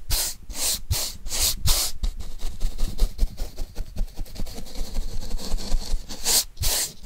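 A paintbrush is rubbed over the surface of a flat brown corrugated cardboard sheet held in the hand. Bright, hissy sweeping strokes come in bursts, alternating with quieter stretches of softer scratching, over a steady low rumble and occasional dull bumps.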